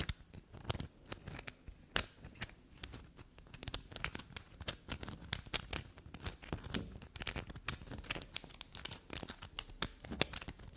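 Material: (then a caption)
Soap. A small solid bar of black soap is held and scratched and scraped with long black nails. The result is a rapid run of soft, crumbly scraping and scratching sounds, bright and dry with no ring.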